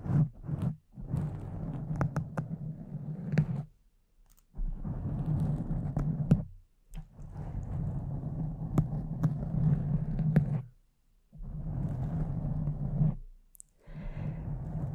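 Long decorated fake nails on both hands scratch and tap a soft, porous pink foam windscreen over a condenser microphone. The result is dense, muffled, rumbling scratching, heavy in the low end, with sharp little taps ticking through it. It comes in several sustained bursts separated by brief silences.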